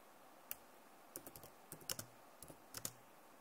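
Long nails and fingertips tap on the keys of a backlit plastic laptop keyboard, making quiet, irregular, bright clicks. The short, sharp clacks come singly and in quick little clusters, each dying away almost at once, with a faint hiss between them.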